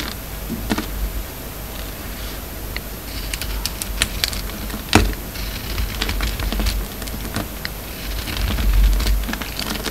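A hand-held solid soap bar with a red and blue marbled coating over a white core is shaved and scraped with a utility knife blade. Irregular crackly scrapes and sharp clicks come through over a steady low rumble and a faint, constant high tone, with the strongest snap near the middle.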